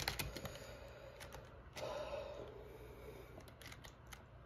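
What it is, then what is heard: Plastic keyboard being typed on. Fingertips type on a backlit black plastic gaming keyboard, heard up close. About a dozen quick, irregular key clicks and clacks sound over a low, steady background. A brief louder, fuller stretch of keystrokes comes just before the two-second mark.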